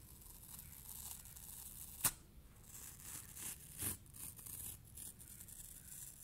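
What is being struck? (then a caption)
Polyurethane foam block. A thick, aged yellow polyurethane foam block, porous and crumbly, is squeezed and torn apart by bare hands and fingertips. Soft, bright ripping and crinkling noises run throughout, punctuated by a sharp snap near two seconds and another burst of tearing just before four seconds.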